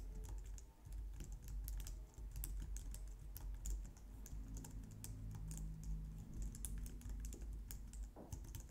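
Long nails and fingertips type rapidly on a compact, low-profile white plastic computer keyboard, producing a quick, steady stream of bright clicks and taps. The clicks sit over a constant low rumble, and a faint hum rises in the middle of the clip.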